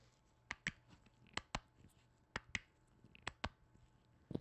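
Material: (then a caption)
Plastic. Black-gloved fingertips tap and knock on a hollow white plastic lotion bottle with a blue cap and plant print. Sharp, dry knocks come mostly in quick pairs, each with a bright click and almost no ring. Quiet, softer taps fill the gaps between them.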